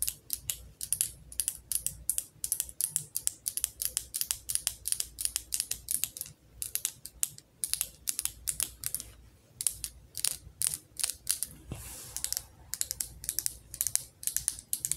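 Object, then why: Glass candle jar tapped with fingernails. Long nails tap rapidly on the glass body of a candle jar filled with orange wax and topped with a metal lid. The result is a fast run of bright, clicky ticks with almost no ring, coming in bursts separated by brief pauses.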